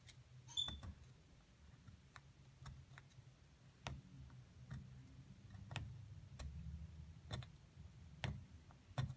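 A metal pick scrapes around the cavity of a solid plaster block holding a partly exposed figure, loosening plaster chunks while the other hand steadies the block. A series of sharp, bright clicks and ticks rise over a steady low rumble of scraping and crumbling plaster.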